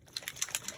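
A spray bottle of mica paint is shaken, and the small mixing ball inside rattles against the bottle in a quick, evenly spaced series of bright, clicking taps. The ball is there to signal that the spray needs to be shaken up before use.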